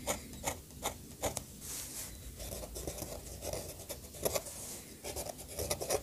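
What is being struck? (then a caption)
Metal pen nib on thick sketchbook paper. The metal nib of an orange fountain pen scratches across the thick paper page of a bound sketchbook lying flat, drawing ink lines and hatching. Dry, raspy scratching comes in short, quick strokes with bright, papery edges, alternating with longer, smoother rubbing passes. The sound is close and fairly quiet, with almost no ring after each stroke.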